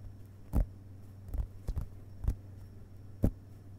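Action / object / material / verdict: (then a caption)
tap / paper pages of an open hardcover book / paper / none. The fingerpads of both hands lightly tap the paper pages of an open hardcover book resting on a carpet. Soft, dull, low taps come at irregular intervals, some in quick pairs, each dying away almost at once. A steady low hum runs underneath.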